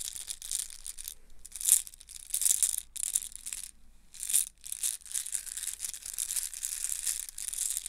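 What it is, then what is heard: Plastic link chain. A yellow plastic link chain with hollow oval links is bunched and squeezed in both hands. The links clack and rattle together in bright, crisp bursts with short pauses, the loudest swells near 1.7 and 4.4 seconds.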